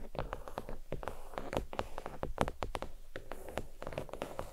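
Fingernails tap across a thin, flat, red stitched faux leather oval desk mat resting on a towel. Quick, dull taps come in dense clusters, each dying away almost at once and mostly low and muted, with a few sharper ticks standing out.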